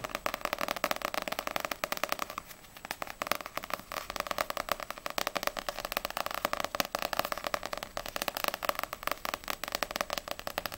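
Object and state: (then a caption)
Paperback book cover tapped with nails. Long grey-painted nails tap quickly on the glossy paper front cover of a small, solid paperback manga, Ousama Game volume 1, held upright in both hands. A dense stream of sharp, dry clicks with a bright, papery edge and almost no low end is heard. The clicks briefly thin out around the two-and-a-half-second mark.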